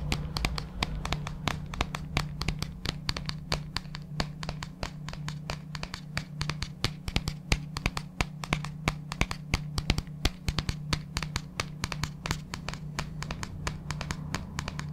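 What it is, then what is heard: Plastic tub tapped and scratched. A large, hollow white plastic supplement tub with a label is held in hand and tapped and scratched with fingertips and nails close to the mic. Quick, irregular, sharp clicks and scratchy strokes follow one another steadily, with a constant low hum underneath.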